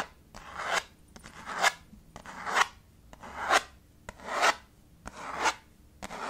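A small dark chalkboard slate in a red wooden frame, resting on a table, is rubbed with knuckles and then scratched and tapped with short-medium fingernails. Six rasping scratch strokes each swell to a bright peak and end in a short sharp tap, repeating at a steady, roughly once-per-second rhythm.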